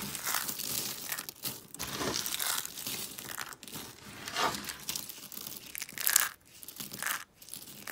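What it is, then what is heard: Dry soap flakes being crushed. Small, brittle, dry soap shards are crushed and crunched in a fist with long painted nails. The result is dense, dry crackling and crinkling in uneven bursts, bright and with almost no low end, and each burst dies away at once.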